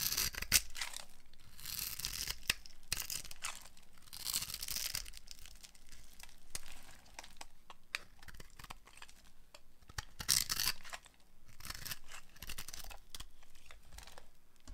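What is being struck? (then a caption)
Bar of soap. A hand-sized, solid beige-orange bar of dry soap, held with long nails, is scored and shaved into cubes with a utility knife blade. Dry, bright scraping and crumbly tearing sounds come in bursts, with short sharp ticks of the blade between longer shaving strokes.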